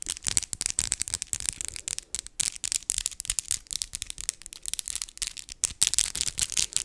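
Long white and glitter acrylic fake nails tap against each other and lightly scratch, worked with both hands. The result is a rapid, dense stream of sharp, dry clicks and faint scraping, almost entirely high-pitched and bright, with no low end.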